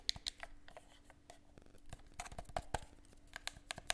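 A handheld, hollow black plastic gamepad is held in both hands while its buttons are pressed and its surface is tapped with fingertips. The result is a quiet series of sharp, dry, bright clicks and taps that stop almost instantly, with soft plastic scratching in between and a faint steady low hum underneath.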